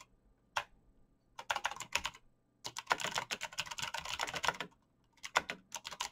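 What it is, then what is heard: Mechanical keyboard with plastic keycaps. Fingertips type on the clicky keys of a black mechanical computer keyboard with plastic keycaps. Bursts of fast, bright, sharp key clicks come in separate runs, with brief pauses between them.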